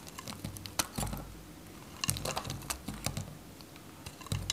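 A metal craft knife cuts a dry, varnished, solid faceted white Godrej No.1 soap bar, held in the fingers, into small cubes. Quick, crisp, dry crunching and snapping clicks come in irregular bursts, with bright high edges over a soft low scrape. Each cut stops short with almost no ring.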